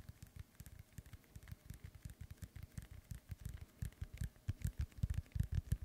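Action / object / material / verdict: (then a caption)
tap / inflated synthetic leather soccer ball / synthetic leather / none. Fingertips and nails tap and scratch the top of a hollow, inflated synthetic leather soccer ball held up in the air. The result is a quick, irregular run of soft, dull, low thumps with faint bright scratchy ticks, and the taps grow louder toward the end.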